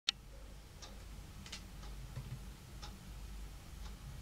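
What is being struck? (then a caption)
Wooden tabletop. Fingertips and long painted nails of two hands tap on a large, solid, dark brown wood-grain tabletop, possibly laminate. Light, sharp, bright clicks come at scattered intervals, with the first one loudest. They sit over a steady low background hum and die away almost instantly.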